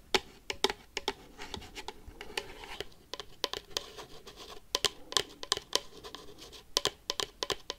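Paperclips worn on the fingertips quickly scratch and tap the lid and side of a medium, hollow, rigid red-and-black cardboard collector box printed with Pikachu. Sharp, bright clicks come in an uneven rapid string over a soft, dry scratching texture, and each tap dies away almost instantly.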